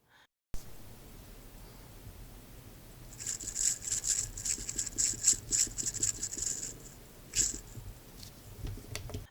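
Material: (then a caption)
Metal. A Nomos Ludwig 36 dress watch with an in-house DUW 2001 movement is shaken, producing a bright, loud rattling from the movement, heard as a dense run of quick metallic clicks and bursts. The noise is a drawback of this movement.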